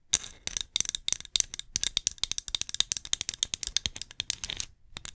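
Long nails tap and scratch a small hollow, glossy ceramic pumpkin ornament with lettering as it is turned in the hands. The result is a rapid, dense run of sharp, bright clicks with very short ring and a light scratchy texture in between. The pattern pauses briefly near the end before a few last taps.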